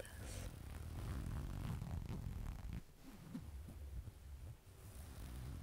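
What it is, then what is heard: Knit fabric garment. A burgundy knit fabric garment, held up in one hand, has its surface scratched and rubbed with long dark nails. The result is a soft, low, rumbling rustle of fabric scratching that dips briefly near the middle before picking back up.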